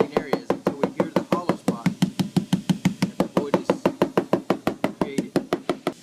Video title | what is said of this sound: Void Repair High Res | we tap around the surrounding areas until we hear the hollow spot